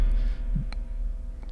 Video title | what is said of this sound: Stuff You Need For Episode 0: Podcasting Microphones | you'll probably be able to hear them if I tap the thing there's like a special sci-fi effect if you bump it